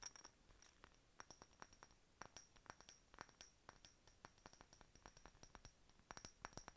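Long nails tap and scratch a hollow, empty, faceted clear glass decorative bottle with a bird stopper. The result is a quiet, rapid, irregular string of bright, short glassy clinks with a faint high ring, separated by light scratchy rustling.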